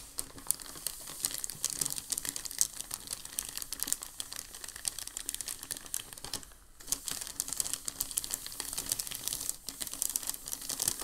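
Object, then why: Thin packing paper sheet. A hand rubs and presses a large, thin, creased sheet of crumpled packing paper on a dark table with the palm and fingertips. It makes a steady, bright, dense crinkling and crackling, with a brief quieter pause around the middle.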